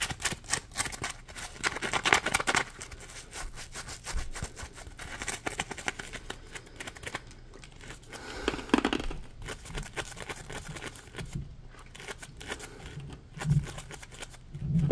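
Fingertips scratch and squeeze a solid, palm-sized yellow polymer foam Scrub Daddy sponge. Rapid, dry, crackly scratching runs throughout, with a steady low undertone. Louder, brighter bursts swell around the squeezes near 2, 9 and 14 seconds, and each stroke dies away almost instantly.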